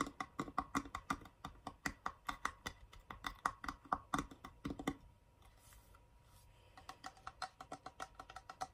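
A small hollow wooden box with carved owl reliefs on its lid is held in the hand while fingertips and short nails tap and scratch across the carved lid and sides in quick, crisp, dry taps. After a brief quieter stretch of soft scratching, the box is turned and tapped on its plain wooden edge.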